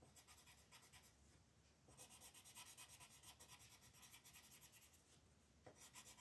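A red colored pencil is rubbed in fast strokes over the letters on a flat paper coloring book page. The quiet, bright, dry scratching comes in quick back-and-forth pulses, easing to a softer hiss before a stronger run of strokes resumes, then dipping again just before a final burst.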